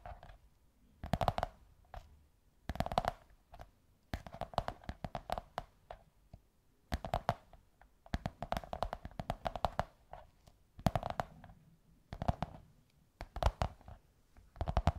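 Long white nails scratch and tap a hollow beige kraft cardboard tube in quick bursts of dry clicks separated by short pauses. The taps give a soft, hollow, mid-pitched knock with a dull low thump underneath, and each one dies away almost instantly.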